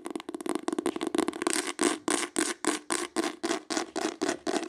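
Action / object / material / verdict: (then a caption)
scrape / embossed hardcover book / cardboard / none. Long acrylic nails tap and scratch the embossed cover of a green hardcover book held up in the air. A quick flurry of dry, rapid taps gives way to steady, evenly spaced scratching strokes, each a bright, papery rasp over a hollow midrange tone, with almost no low end.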